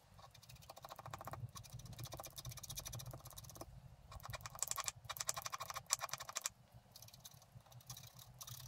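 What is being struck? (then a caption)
Black-coated scratch art paper card. A wooden stylus scratches a flat black-coated scratch art card lying on a table, working along the grass at the bottom of the picture. Quick, dense strokes make a bright, crackly scraping texture with a soft low rumble beneath. The scratching comes in bursts separated by brief pauses.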